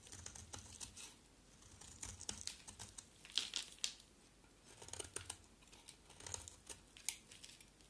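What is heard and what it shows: A rectangular solid white soap bar with a black coat is scraped and shaved with a box cutter blade. Quick, bright scraping and crinkly shaving strokes come in clusters, with soft low thumps between them.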